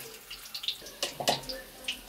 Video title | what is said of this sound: कटहल के चटपटे और कुरकुरे पकौड़े । Jackfruit crispy N Spicy Pakora - How to make Jackfruit Pakoras | तो आपको इसकी आवाज से पता चल रहा होगा कि हमारे जो पकोड़े हैं बहुत ही कुरकुरे बनकर तैयार हुए हैं